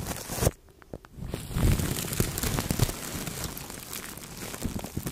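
Clear plastic cling film wrapped over a microphone head is rubbed by a fluffy makeup brush and a blue-tipped brush. The result is close, dense crinkling and crackling, with soft low rustles and quick snaps. A brief hush follows the first loud crinkle, then the rubbing continues steadily.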